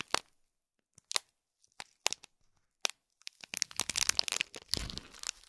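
Fingernails scratch and crinkle the foil of a small gold foil-wrapped gift box with a gold cord, wrapped in plastic film. Sparse, sharp, bright crackles come one at a time at first, then build into a dense, continuous crinkling.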